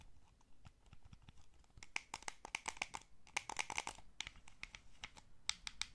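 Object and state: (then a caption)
Plastic game controller. A small, hollow, blue wired plastic gamepad is held in both hands while thumbs and fingertips press its buttons and tap its shell. About two dozen quick, dry clicks and taps come in uneven bursts over a faint background hiss. The sounds are quiet but bright and crisp, with almost no ring.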